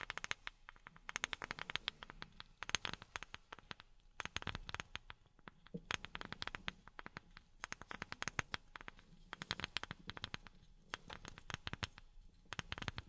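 A wooden object is tapped with silicone rubber pads worn on the fingertips. Rapid bursts of quick, dry, bright clicks come in flurries separated by brief pauses, each tap stopping almost instantly.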